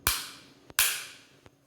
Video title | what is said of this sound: Taurus GX4 13 Round Extended Magazine | you'll feel it and you'll hear it click whenever you tap it and it's locked in